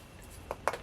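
Two short, dull knocks on a freshly poured visor mold after about three hours of curing, each dying away almost at once with a mid-pitched thud and little low or high ring. The cast sounds solid, with nothing leaked out, though it is still damp.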